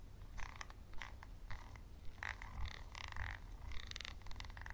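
A wooden pencil scratches a small, clear, textured glass bottle held close up, giving a quiet, rough, rasping sound. Short scraping bursts with bright edges repeat irregularly over a steady low rumble.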